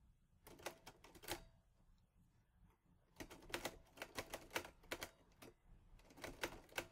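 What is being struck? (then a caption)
Metal manual typewriter keys. Fingertips type on the keys of a mint-green Olivetti Lettera 22 portable manual typewriter with a metal body and paper loaded. The result is quiet, crisp, bright metallic clacks that die away quickly. A short burst of keystrokes is followed by a near-silent pause, then denser runs of typing with a brief lull before a final flurry.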